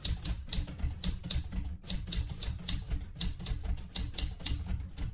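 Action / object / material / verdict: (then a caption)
tap / metal manual typewriter / metal / none. Fingertips with red-painted nails type on the plastic keys of a metal portable manual typewriter. An uneven run of crisp, bright key clacks rides over a low mechanical thump from each stroke, with each strike dying away quickly.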